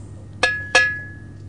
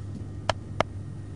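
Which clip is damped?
The second.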